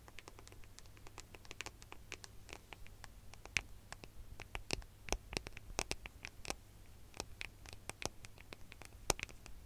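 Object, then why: Metal and glass smartphone. A gold smartphone with a metal and glass body is held in both hands just behind the microphone while fingernails scratch and tap its back and edges. Rapid, irregular bright clicks and short scratches, with a few sharper taps, sit over a steady low hum. Each tap dies away almost at once.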